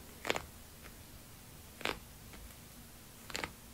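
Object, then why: Padded faux leather binder cover. Fingertips tap and rub the padded cover of a small binder covered in iridescent holographic synthetic leather with a snap strap, lying flat. Brief, soft bursts of dry, scratchy rubbing rise over a quiet background, each with a bright, crisp edge and no ring, followed by fainter brushes in between.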